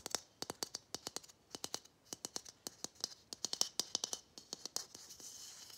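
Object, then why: Plastic Christmas bauble. A matte gold hollow plastic Christmas bauble with a gold cap and string is rubbed and scratched with fingernails, giving a fast run of about 31 sharp, bright clicks and scratches. The sound is thin and very high, with almost no low end. Near the end it turns into a steadier, soft scraping hiss.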